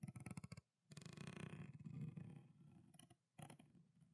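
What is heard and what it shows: A small, clear, thin plastic water bottle with water inside is gripped in the fist, tapped quickly with the nails, then squeezed and crinkled. A short burst of dull, rapid taps gives way to a long, dense crackle of crumpling plastic, followed by a brief pause and another short crinkle. The sound is quiet and mostly low and muffled, with a little bright crackle on top.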